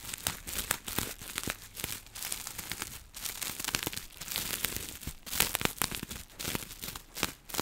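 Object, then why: Plastic bubble wrap. Long nails scratch and pinch a small bunched piece of clear plastic bubble wrap held low. The result is a dense, bright crinkling and scratching with many sharp crackles and short, dry bursts that rise and fall steadily throughout.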